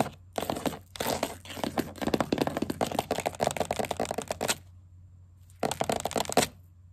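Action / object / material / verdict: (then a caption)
tap / wooden tabletop tapped with plastic caps and acrylic nails / wood / none. Green plastic witch-finger caps on one hand and long black acrylic nails on the other tap and scurry across a solid wooden table edge, close to the mic. Rapid, crisp clicking and scratching runs in dense bursts for about four seconds, with brief breaks. After a second of quiet with a faint low hum, a shorter flurry of clicks follows.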